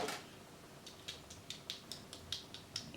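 Freshly fried, coated shrimp, still warm from the pot, are handled by the cook, making a rapid series of short, bright, dry crunches and crackles over a quiet background. The sharp, high clicks show that the shrimp are very crispy.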